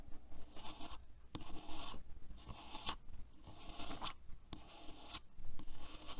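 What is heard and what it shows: Fingertips and nails of both hands scratch and rub the hollow-looking handle and plastic bristles of a black plastic paddle hairbrush lying on a white table. The result is a quiet, irregular run of dry scratchy and rubbing bursts with short pauses, bright grainy hiss, and a few tiny high clicks over a faint low hum.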